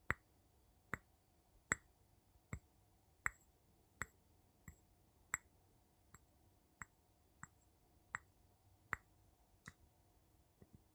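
The tip of a wooden scoop handle taps the bottom of a small, empty, clear glass jar held upside down. It makes a slow, steady series of short, sharp glassy clicks with a bright tone around 2 kHz that dies away almost instantly, over a quiet background.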